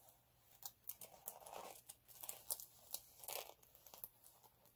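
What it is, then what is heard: Chunky glitter sheet scratched. Fingertips and short nails scratch and rub across a flat multicolour chunky glitter sheet lying on a dark cloth. The result is a quiet series of crisp, dry scrapes and crinkly rasps with a bright, hissy texture and almost no low end. Each stroke stops abruptly with no ring.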